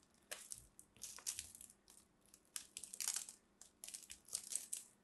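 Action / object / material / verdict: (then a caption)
scrape / bar of soap scraped with a small metal blade / soap / none. A small metal blade scrapes and carves into a solid mint-green soap chunk held in both hands, cutting off crumbly shavings. The result is a series of dry, crisp, crunchy scraping bursts with bright, high-pitched grit, separated by short quiet pauses.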